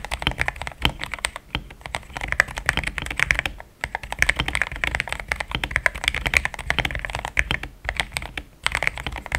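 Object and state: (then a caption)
Mechanical keyboard with plastic keycaps. Fingertips type fast on a compact pink-cased mechanical keyboard with cream, thick XDA plastic keycaps that sounds solid. A dense stream of short, bright clacks centred around 2 kHz with a soft low thump beneath, each dying away almost instantly, pauses briefly near 3.8 and 7.7 seconds.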